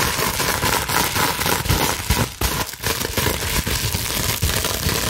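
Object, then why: Plastic bubble wrap sheet. Long nails scratch quickly across the small air bubbles of a clear plastic bubble wrap sheet held in both hands. The result is a dense, continuous crackling and crinkling that spans from low rumbles to bright, high hiss, with brief dips in loudness in the middle.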